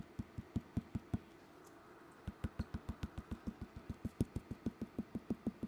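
Tapping on the top portion of an unfired, leather-hard clay bowl gives 23 short, dull, low thuds, with a pause of about a second after the first six. The top wall sounds thicker than the bottom, so it still needs trimming to reach an even wall thickness.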